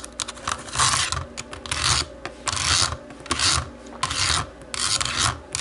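Long nails tap and scratch the shell of a small, hollow black plastic computer mouse. Bright, raspy scratching strokes come in repeated bursts, with quick light clicking taps in between and a faint low hollow body underneath.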